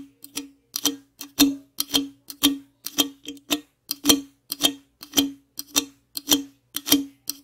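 The top and rim of an aluminum Monster energy drink can are tapped with the tips of long acrylic nails in an uneven rhythm. There are 26 short, bright clicks, each with a brief metallic ring near 300 Hz that dies away quickly.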